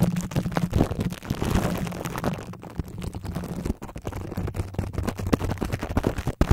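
Clear plastic cling wrap is stretched over the metal mesh head of a large microphone while the fingertips of both hands scratch, tap and cup the wrapped grille. It produces a dense, close crinkling and scraping with many quick dull taps over a heavy low, boomy rumble, with little bright content. The texture stays continuous and rough throughout, with a few sharper taps standing out near the end.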